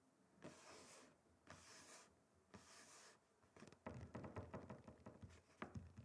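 Both hands rub and scratch the surface of a flat, solid, rectangular wooden chopping board with fingertips and short nails. Three long, airy, bright rubbing strokes are followed by a denser run of quick, dry scratches and small clicks. The sound is quiet and close throughout.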